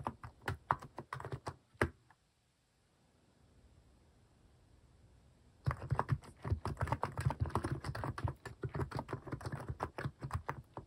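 Fingertips type on a compact mechanical keyboard with a white plastic case and cat-themed plastic keycaps, giving quick, short, deep-toned clacks. A burst of typing stops after about two seconds, leaving near silence. Steady, dense typing then resumes and continues to the end.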